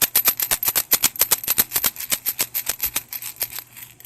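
A handmade ceramic pinch-pot pod rattle, textured with a seashell edge, is shaken in about 25 quick, bright rattling bursts over four seconds, fading slightly toward the end. It has a deeper sound and still rattles, but it is less beautiful-sounding than most such rattles, a sound that could not be known until it was fired.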